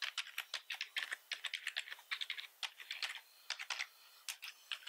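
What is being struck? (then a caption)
Plastic computer keyboard. Fingertips of both hands type fast across the keys of a full-size black plastic computer keyboard. Rapid, bright clicky keystrokes come in uneven bursts with short pauses, each click dying away almost instantly and carrying no low end.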